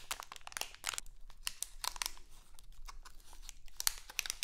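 A small, printed, crinkly plastic Halloween candy bag is held in both hands, crinkled and scratched with long acrylic nails. Bursts of bright, sharp crackling alternate with softer rustling and scratching, over a faint low hum in a quiet space.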